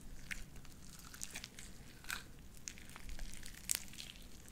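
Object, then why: Sticky slime with small beads. A light-blue sticky slime with white beads is kneaded and squished with the fingers of both hands. Quiet, wet crackling and sharp bright pops come through, most noticeably near the end, over a low steady rumble.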